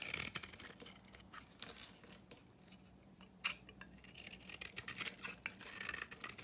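A utility knife shaves a solid, dry oval pink bar of soap held in the hand, cutting it into dry flakes. Bright, crisp scraping strokes crackle in quick bursts, quieting briefly in the middle before a sharp scrape and a renewed run of rough, gritty cuts.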